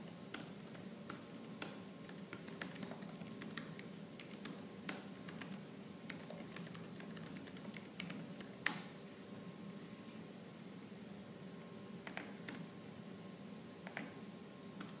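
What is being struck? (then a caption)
Plastic laptop keyboard. Fingertips with purple nails type fast on a laptop keyboard with black plastic keys, producing a rapid run of bright, sharp clicks over a steady low hum. The taps are dense at first, then the pace slows toward the end, leaving a few isolated clicks.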